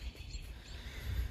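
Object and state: Nothing is struck.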